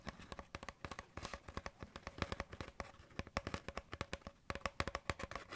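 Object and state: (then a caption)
Hollow cardboard paper towel tube. An empty, hollow brown cardboard paper towel roll tube, its open end visible, is tapped and patted with the fingertips. Dozens of quick, dry, hollow taps follow in an irregular rhythm, each with a low, papery thump and a brief bright click that dies away almost instantly.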